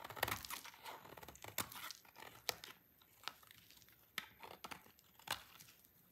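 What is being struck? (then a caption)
Bar of soap scraped with a knife blade. A small, solid, dry white-orange soap bar is scraped repeatedly with a utility knife blade, breaking off curls of soap. Dry, crisp scraping and crinkly crackles are punctuated by sharp, bright snaps that die away instantly, with almost no low end.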